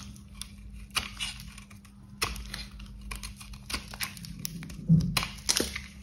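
A solid, dry, cream-coloured bar of soap is held in gloved hands while a box cutter blade scrapes and slices pieces from its surface. Short, crisp crunching and scraping clicks sound in an irregular series, with sharp, bright transients over a low steady hum.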